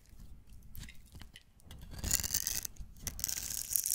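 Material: Soap.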